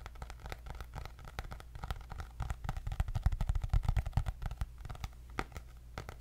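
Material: Cardboard.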